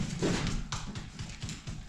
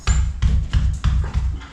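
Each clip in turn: First: solid section of wall. Second: hollow-sounding wall spot.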